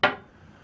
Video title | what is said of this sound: Casting Plastic Parts at Home with a DIY Urethane Mold. | it's pretty hard stuff here I'll knock it on here so you can hear it's nice and tough too